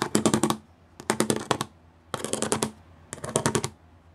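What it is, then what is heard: Plastic studded sheet. Fingertips and long nails of several fingers tap quickly on a gray plastic studded sheet. Four bursts of rapid, bright, clicky taps with a faint hollow ring are separated by short pauses.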